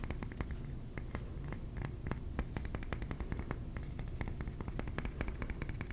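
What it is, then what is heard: Ceramic trinket plate. A ceramic trinket plate is tapped quickly and steadily with the fingernails. Light, crisp clicks follow one another with short, bright ringing tones above a soft, low rumble.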